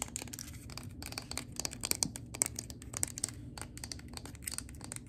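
Long gold acrylic nails tap and scratch the glass bottom and label side of a large glass candle jar (Peppermint Sugar Cookie) full of wax, held in the hands. Quick, bright, clicky taps come in a dense, uneven stream, mixed with high scratchy rasps over a faint low hum. Each tap dies away almost instantly with no ring.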